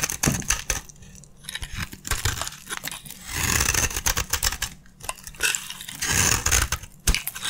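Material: Soap.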